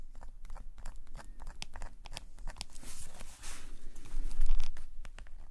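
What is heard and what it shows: A metal calligraphy nib pen in a fingerless-gloved hand scratches ink lines across a black paper sketchbook page lying flat on a woven table mat. The pen makes dry, crisp scratching strokes in quick, uneven bursts, bright at the top with a low rumble underneath. It builds to a denser, louder stretch of scratching near the end.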